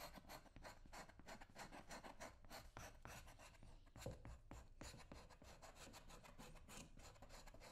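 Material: Leather.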